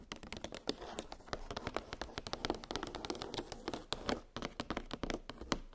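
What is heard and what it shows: Long pink nails tap rapidly on a clear, hollow plastic clamshell blister package holding nested metal gingerbread cookie cutters on a cardboard backing. The result is a quick, uneven stream of short, dry clicks and light plasticky knocks with a bright top edge and very little ring.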